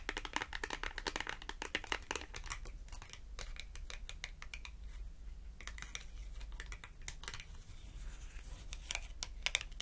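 A small red glossy cardboard clothing tag is held edge-on while its edge is tapped rapidly with long acrylic nails. The result is bursts of quick, dry, bright clicks that die out almost at once, thinning into sparser taps midway before picking up again. A steady low hum runs underneath throughout.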